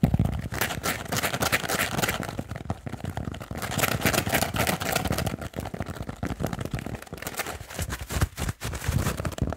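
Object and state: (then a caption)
Kitchen sponge with scouring pad. Fingernails rapidly tap and scratch on a small rectangular foam kitchen sponge with a blue scouring layer. The result is a dense, fast run of dull taps and scratchy rustles with no clean gaps between them. Each sound carries a low thump and bright scraping texture.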